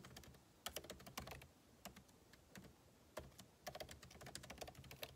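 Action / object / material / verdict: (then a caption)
tap / laptop keyboard with plastic keys in a metal body / plastic / none. Two hands type with their fingertips on the backlit keyboard of a MacBook Pro laptop, whose plastic keycaps sit in a hollow aluminum case. Light, crisp, bright key taps come in quick bursts separated by short pauses, each click dying away almost instantly over a faint low rumble.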